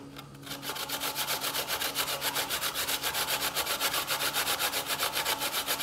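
A small piece of solid white fresh coconut flesh, held in the fingertips, is rubbed up and down a stainless steel box grater standing on a bamboo board, with shreds falling onto the board. After a quiet start, a steady, rapid series of bright, rasping scrapes follows, about four strokes per second.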